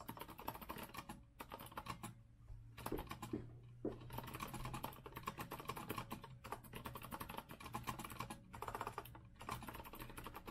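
Both hands type with their fingertips on a rose-gold Azio retro mechanical keyboard with a metal frame and round plastic keycaps. It makes a dense stream of quick, crisp clacks broken by a few short pauses, over a steady low hum.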